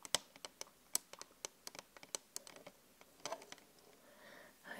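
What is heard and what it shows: Long acrylic nails on both hands tap a large, flat glass LED vanity mirror in quick, irregular typing-like clicks. The clicks are sharp, bright and dry, and they die away almost at once. Near the end, a softer scratchy rustle rises between the taps.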